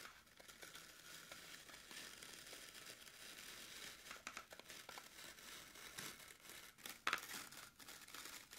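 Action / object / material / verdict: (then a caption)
scrape / green floral foam block scratched with fingernails / floral foam / none. Long pointed nails dig into a rectangular green floral foam brick, solid and porous, resting on a wooden table, scratching grooves across its top. The sound is a dry, bright, crumbly crinkling and tearing with almost no low end, broken by sharp little crunches, including one louder crunch near the seven-second mark.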